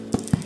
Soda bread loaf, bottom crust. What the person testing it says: if it sounds Hollow on the bottom that is dunzo